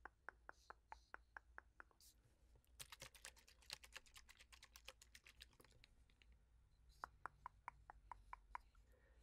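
A fingertip and nail tap on a pink-filled plastic fragrance mist bottle with a gold collar and clear pump cap, held close, striking the cap, collar and body. A steady run of about eight crisp plastic ticks opens the clip, then a faster, denser flurry of bright clicks follows, and another evenly spaced run of about eight taps closes it. A faint low hum sits underneath throughout.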